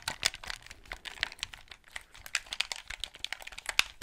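Fingertips rapidly click the buttons and triggers of a white Xbox 360 gamepad and tap its hollow plastic shell, held close to the mic. The result is a fast, irregular run of dry, crisp plastic clicks and taps, bright and thin with almost no low end, each one cutting off almost instantly.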